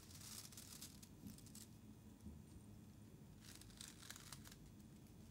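Fingertips with painted nails press into a loose mound of thin black shredded paper strips on a white surface, crinkling and rubbing them. Bright, dry crinkling comes in two bursts, at the start and again near the end, with softer rustling between, over a steady low background hum.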